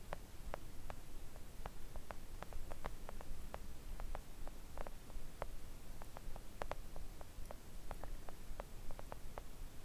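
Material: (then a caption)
Silicone. Long acrylic nails gently tap a flat, thin, solid pink silicone nail art mat. The result is an irregular stream of soft, short clicks over a steady low rumble.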